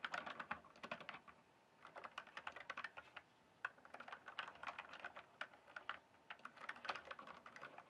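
Fingertips type and tap on a full-size RGB backlit plastic mechanical keyboard with a hollow case, producing rapid, uneven bursts of short clacky keystrokes. The clicks are bright and hollow-sounding, with no low end. They come in flurries separated by brief pauses around the one-second and three-second marks.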